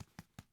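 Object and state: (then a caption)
Hollow-sounding bread loaf. A home-baked loaf of bread is tapped four times, each tap a short, low, hollow-sounding thump. The hollow sound is the usual sign of bread baked through, though there is worry the oven was too hot, the inside may not be fully cooked, and the loaf feels heavy and dense; it has not yet been cut open.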